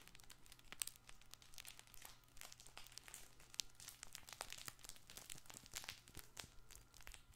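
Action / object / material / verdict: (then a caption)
scrape / fabric crinkle toy ball / fabric / none. A soft fabric crinkle toy ball with an orange panel and red stars is squeezed and rubbed by both hands close to the microphone. It makes dense, quiet crinkling with bright, crackly bursts over a steady low hum, continuing throughout the clip.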